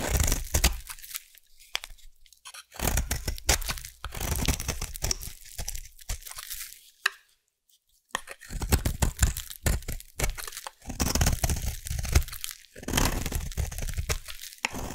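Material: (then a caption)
Soap. A solid orange bar of soap is cut with a craft knife and then carved with a blade. Bursts of crisp, crunchy scraping and tearing alternate with short pauses, with a near-silent gap around the middle. The cuts have a low thud underneath and bright shaving texture on top.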